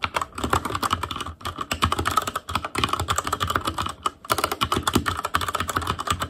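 Rapid two-handed fingertip typing on a full-size ASUS ROG Claymore Core mechanical keyboard, with plastic keycaps on Cherry MX Red switches over a metal plate in a hollow, RGB-backlit case. A dense stream of quick, short clacks with a bright click and a hollow low thump, and brief pauses near 1.4 and 4.1 seconds.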